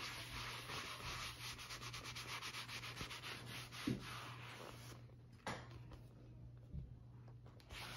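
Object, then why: Leather notebook cover. A brown stitched leather field-notebook cover, thin and flexible, is held open and rubbed by hand with a white fabric buffing pad. Steady, bright rubbing and sanding strokes run for about five seconds, then quiet down, with a few sharper scuffs in between. A low, constant hum sits under it throughout.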